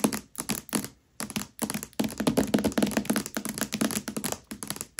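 Long nails on both hands tap and scratch across the glossy paper dust jacket of a Mistborn hardcover book, lying upside down and flat on a velvet cloth. The sound is a quick, irregular run of dry, clicky taps with a low hollow thunk and bright scratchy edges. It pauses briefly near the one-second mark, then continues as a dense, steady patter.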